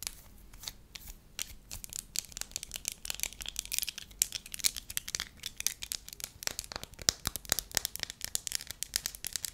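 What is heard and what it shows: Long lavender nails and fingertips stretch, crinkle and tap a thin, flat, hand-sized sheet of solid, pliable pale yellow wax. The result is a quiet, steady stream of crisp, bright crackles and sharp clicks that stop instantly, with almost no low end.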